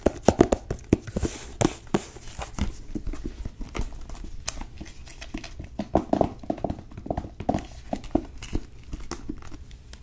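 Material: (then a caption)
Cloth, board. Long nails tap and grip the cover and page edges of a blue cloth-bound hardcover book. The result is a quick, irregular run of dull, short taps with soft crinkling scratches between them. Each tap dies away almost at once.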